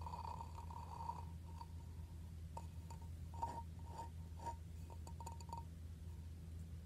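Blue-painted fingernails and fingertips tap and scratch the grey gritty textured rim and upper side of a medium, hollow, red glazed ceramic plant pot with an embossed medallion. Soft clinks ring briefly at a clear tone near 930 Hz, with faint scratchy texture, over a steady low hum.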